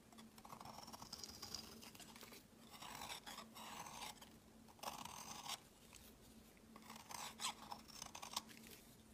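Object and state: Soap bar being carved.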